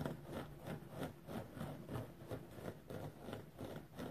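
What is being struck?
Foam sponge.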